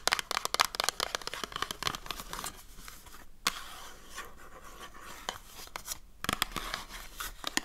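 Long dark nails scratch the surface and edges of a small printed cardboard soap box held in the hand. The result is a dense run of quick, dry, bright scratching and crinkling strokes, with busier bursts at the start and end and softer rasping in between.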